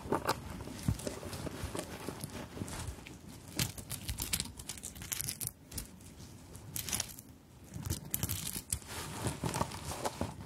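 Long nails scratch and tap across a fabric handbag embellished with sequins and elongated plastic beads, held close. A dense run of crinkly, rustling scrapes is broken by quick bright clicks as the beads knock together, with a steady low rumble underneath throughout.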